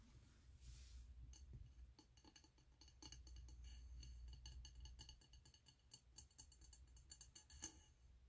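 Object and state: Frosted glass candle jar.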